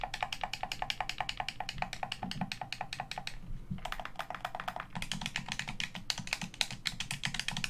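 Fingers tap the hollow shell of a black plastic Xbox One controller and click its buttons and sticks. The result is a rapid, steady run of short, dry, bright clicks and taps with almost no ring and a soft low thump beneath, pausing briefly near the middle before resuming.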